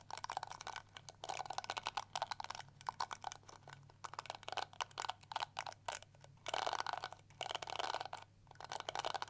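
Long nails scratch and flick along the plastic bristles of a small pink and yellow plastic detangling hair brush. Quick bursts of crisp, dry scratching and ticking come in uneven clusters, with a bright edge and a strong middle tone. A faint low hum sits steadily underneath.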